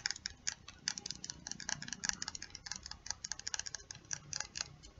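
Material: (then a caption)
Plastic. A small, slim plastic lip gloss tube with a silver cap, filled with pink gloss, is held in both hands and tapped and scratched with long acrylic nails. The result is a rapid, uneven series of quiet, crisp, bright clicks and scratchy ticks that stop almost instantly, with very little low end.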